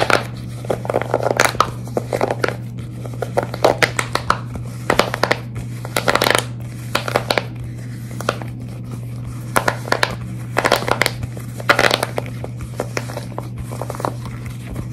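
A pastel tie-dye silicone pop-it sheet with hollow bubbles is held in both hands while long red nails and fingertips grip, squeeze and scratch quickly over its surface. Fast, bright crinkly scratches and squishy rubbery bursts come in uneven clusters over a steady low hum.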